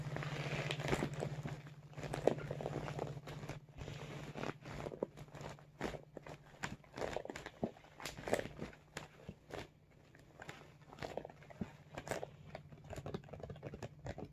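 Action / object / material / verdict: scrape / soft vinyl cosmetic bag / vinyl / none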